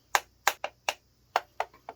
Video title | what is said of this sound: Should YOU Buy THE EVO START RECORDING BUNDLE? | the body is actually all plastic and it's thin you can actually hear the thinness of it when you knock on it